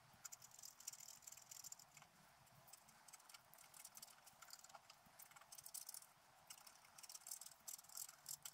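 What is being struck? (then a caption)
Scratch-art paper scratched with a wooden stylus. A wooden stylus scratches the coating of a flat black coated scratch-art paper sheet lying on a table. The result is a quiet, steady run of dry, bright scratching strokes in short, irregular bursts, with almost no low end.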